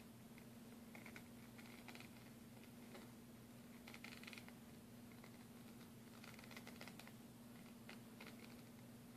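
A thin, solid plastic bank card is held in the hands while its edge and surface are tapped and scratched with fingernails. Soft, quiet clicks and scratchy taps come in irregular clusters over a steady low hum.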